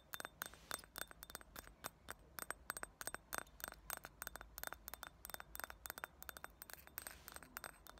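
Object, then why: Thick round glass ashtray. Fingernails tap and scratch around the rim and sides of a small, thick, round clear glass ashtray or dish with solid walls, sitting empty. The result is a rapid, irregular stream of short, bright glassy clicks and clinks with a faint ring near 1.5 kHz, separated by soft scratching.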